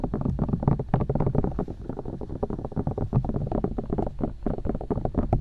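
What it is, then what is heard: Silicone microphone ears tapped and poked. Long nails tap and poke the silicone ears of a binaural microphone, then fingertips take over. The result is a rapid, continuous stream of short, muffled thumps and soft scratchy pokes. The sound is heavy in the low end with almost no bright top, and each touch dies away almost instantly.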